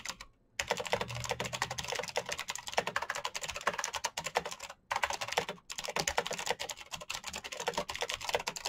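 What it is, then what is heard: Plastic mechanical keyboard being typed on. Fingertips type fast on the keys of a full-size black plastic Razer mechanical keyboard with clicky green switches and RGB backlight. A dense, bright stream of sharp, short clicks rattles on, broken by two brief pauses near the start and the middle.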